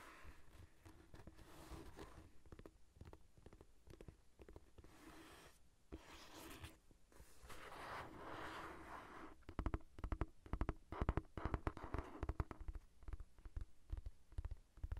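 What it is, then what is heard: Paperback book. A thick paperback novel held on its side above the recorder is scratched and tapped by long nails along its page edges and cover. Soft, dry scratching rustles for the first half. Then quick, irregular taps with dull, low thumps take over and grow louder.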